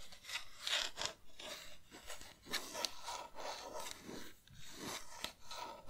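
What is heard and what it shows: A pink hollow plastic game controller held in both hands is tapped and scratched with long nails, and its buttons rattle now and then. Bright, dry scratching and scraping mix with irregular, sharp clicky taps that stop almost instantly, rising and falling in uneven bursts.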